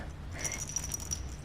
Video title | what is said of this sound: 2024 VALENTINES CLEAN + DECORATE - MESSY HOUSE EXTREME CLEANING MOTIVATION - MarieLove | when you shake it it rattles